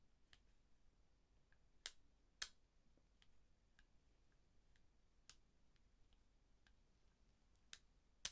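Small thin-framed eyeglasses with a dark frame and lenses are held in both hands in front of the chest while the fingertips work the hinges and temple arms. Sparse, bright, very short clicks and ticks sound over near silence, with a few sharper, louder snaps standing out among the faint ones.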